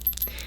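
A gold-tone metal holiday wreath brooch with green and red accents and a bow at the top is moved so the working bell in its middle jingles. Two quick, bright, high-pitched tinkles ring briefly over a low background hum.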